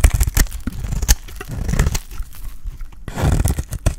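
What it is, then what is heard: Dry bar soap being shaved. A solid, pale green dry bar of soap is held in the hand while its edge is shaved with a metal utility blade. This makes a series of crisp scraping and cutting strokes, with sharp, bright crackles over a heavy low rumble.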